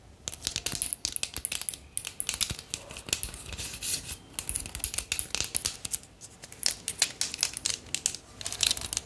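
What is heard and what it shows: A bundle of thin wooden or bamboo sticks is scratched and tapped with long nails and rubbed between the hands. The result is a dense run of bright, dry clicks, crackles and scratchy rustling with almost no low end, each tick dying away at once.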